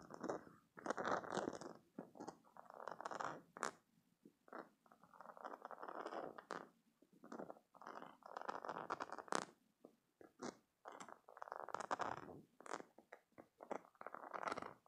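Fingertips and nails scratch and press into the soft spikes of a hand-sized green silicone spiky squishy stress toy. Quiet bursts of rubbery, scratchy squishing come and go in uneven pulses, with brief bright clicks between them.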